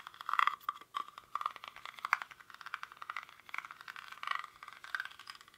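Fingernails scratch the weave of a small, hollow woven rattan or reed basket held in both hands. The result is a dense run of dry, crackly scratches and light rattling taps, centered in the midrange with some brighter edges and no low end. Each scrape dies away almost at once.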